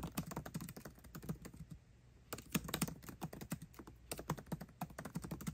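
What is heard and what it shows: Fast fingertip typing with both hands on the backlit black plastic keycaps of a 13-inch aluminium MacBook Pro laptop keyboard. The result is a rapid, continuous stream of short, dry clicks with a low thud beneath each tap and a brief pause around the middle.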